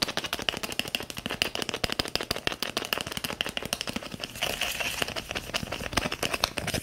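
A small, filled red and white plastic cream tube is tapped and scratched quickly with long fingernails, making a fast run of sharp, dry clicks with a bright, hollow plastic tone around 2.8 kHz. About two-thirds of the way through, the taps blur into a denser, steadier scratching rattle before separate clicks return at the end.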